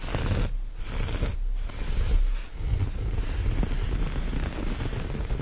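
Fingernails scratch and rub the looped surface of a brown chevron-pattern cotton terry towel laid flat. The result is a continuous, soft, low-heavy rustling texture with faint scratchy detail and brief dips in brightness.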